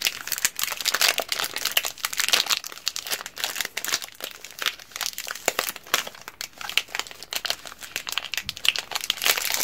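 Black-gloved fingers squeeze, crumple and rub the crinkly orange plastic film wrapper on a single 190 g solid bar of Russian strawberry soap, turning it from front to back. The result is a dense, continuous stream of bright, sharp crinkles and crackles with almost no low end, each snap dying away almost instantly.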